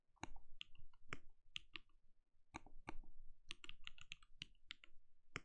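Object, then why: Plastic mechanical keyboard. Fingertips of both hands type rapidly on a compact backlit mechanical keyboard with plastic keycaps and a translucent glowing case. Short, dry clicks land in quick irregular bursts, each with a low thump beneath a bright clack that dies away almost instantly.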